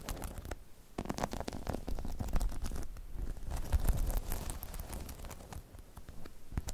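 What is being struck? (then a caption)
Rubber balance pod with spikes. Long chrome nails scratch and tap the spikes of a hollow, air-filled half-dome rubber/PVC balance pod about 16 cm across, resting on a dark fuzzy mat. The result is a busy run of soft, dull taps and scratchy rubs with short, crisp transients over a deep, rumbly low end. The sound stays fairly steady throughout, with no clear rhythm.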